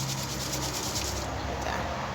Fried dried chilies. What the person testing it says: ฟังเสียงกรอบของบักพริก